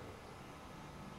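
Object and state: Nothing is struck.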